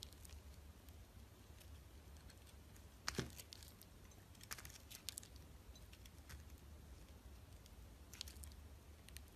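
A utility knife blade slices and scrapes thin layers and the glittery rim off a solid, translucent orange glycerin soap bar held in the hand. Quiet, crisp scraping and brief bright slicing clicks sound over a steady low hum, with the sharpest cut just after three seconds.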